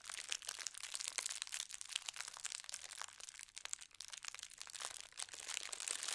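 Fingertips with long red nails scrunch and rub thin white tissue paper printed with gold stars. The result is a steady, dense crinkling made of many rapid, dry, bright crackles with almost no low end, staying at a fairly quiet, even level throughout.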